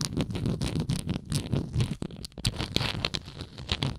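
Long nails scratch the textured surface near the base of a hollow plastic Tums tablet bottle held tilted. The result is a dense run of quick, rasping scrapes with a low hollow body and bright crackly edges, pausing briefly near the middle before resuming.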